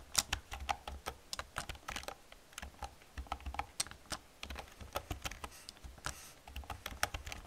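Fast typing with long painted nails and fingertips on an old black plastic computer keyboard with hollow plastic keys. A rapid, uneven run of about 25 short, bright clicks and clacks stop almost instantly, with soft low thumps beneath.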